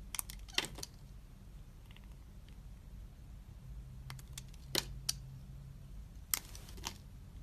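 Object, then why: Glycerin soap bar cut with a utility knife blade. A snap-off utility knife blade scrapes and carves thin shavings from a hand-sized, solid, translucent green glycerin soap bar held in the palm. Brief, bright scraping clicks and crisp carving cuts come in scattered bursts over a low, steady hum, each one ending almost instantly.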